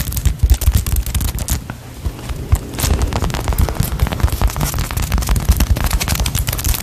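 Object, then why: Polyurethane foam squishy toy. A small solid polyurethane foam cake slice squishy toy is squeezed and scratched with long nails right beside the mic. It makes a dense run of rapid crackling, popping bursts over heavy, boomy low thumps, with bright scratchy clicks on top. The sound dips briefly near the two-second mark before picking back up.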